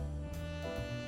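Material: Nothing is struck.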